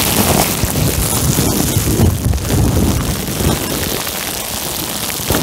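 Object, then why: Plastic bubble wrap sheet. A clear plastic bubble wrap sheet wrapped over a microphone is squeezed and crinkled with fingertips. The result is a steady, dense, muffled crinkling and rustling with a heavy low rumble and a faint bright hiss on top, holding a fairly even loudness throughout.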